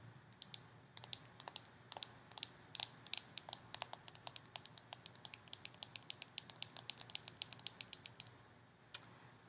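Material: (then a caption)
Plastic. Long painted fingernails tap and click rapidly on the solid, flat back of a hand-held smartphone in a hard plastic case with a printed photo-collage back, held toward the camera. The result is a steady stream of sharp, bright, dry clicks that stop instantly with no ring, over a faint low hum.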